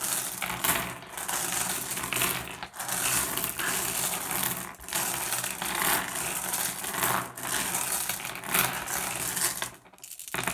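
Fingertips rake and shuffle a pile of small, solid, blue iridescent flat glass gems across a wooden surface. A dense, continuous clicking and clattering rattle fills the clip with bright, crisp ticks, easing briefly a few times before the gems settle into a final short pause near the end.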